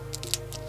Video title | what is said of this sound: Saving Seed: A simple Guide | you can hear how crispy that is. That's what we're looking for.